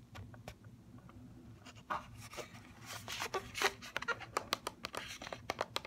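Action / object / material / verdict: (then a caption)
tap / plastic blister pack on cardboard card / plastic / none. A mascara in a plastic blister pack on a cardboard card is held and tapped with fingernails on the plastic shell and the cardboard edge. The result is an uneven run of crisp, bright clicks and taps mixed with crinkly plastic rustling, growing sharper and more distinct toward the end over a faint low hum.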